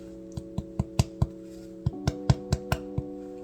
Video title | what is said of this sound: 🍞Let's make bread... AGAIN! ✨ - Updated Bread Making Journey | It's supposed to sound like lightly hollow.